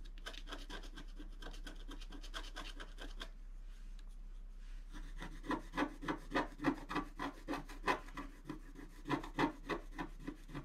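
A long wooden stylus scratches lines into the right side of a flat black coated scratch art paper sheet. Rapid, fairly regular dry scraping strokes start soft and steady, pause briefly, then return as louder, sharper rasping scratches with a bright edge and a low hum underneath.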